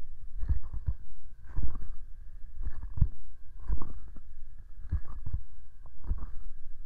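Medium-length painted fingernails and fingertips tap and scratch the front and top of the white, hollow, rectangular plastic housing of an SR3D binaural microphone, about 25 cm wide, mounted on a small tripod. Dull, bassy thumps with a light scratchy edge arrive in loose clusters roughly once a second, each dying away almost at once.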